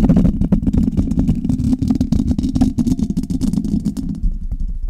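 Long red nails of both hands scratch and tap the metal mesh grille of a Blue Yeti metal USB condenser microphone. Rapid, dense tapping and scraping produce a boomy, low rumbling texture with short, dull clicks and little brightness. The activity continues steadily before thinning out slightly near the end.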